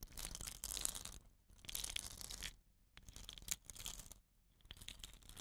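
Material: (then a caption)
Bamboo. Fingertips and nails scratch the woven rattan binding of a hollow, dot-painted bamboo rain stick and roll the tube. Bright, dry scratching and crackling rattle comes in four bursts separated by short near-silent gaps. Each burst is hissy and textured with little low end.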